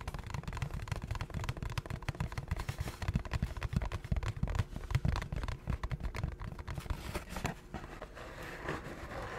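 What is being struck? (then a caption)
Small cardboard food box. Fingertips and nails tap and scratch the surface of a small, empty, hollow cardboard McDonald's McRib box held in both hands close to the mic. Dense, rapid dull taps with a deep, boomy low end and quick dry scratches run throughout, with little brightness. Near the end the tapping thins out into a softer, steadier scratching.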